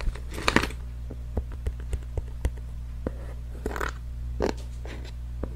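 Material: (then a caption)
Cardboard. A small, hollow, pink printed cardboard packaging box is held in one hand next to the microphone and tapped and scratched with long fingernails. About eleven short, dry taps and clicks are heard, mixed with brief bursts of scratchy rustling. A steady low hum continues underneath throughout.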